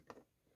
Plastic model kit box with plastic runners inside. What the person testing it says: you can shake this and they won't you know rattle around or anything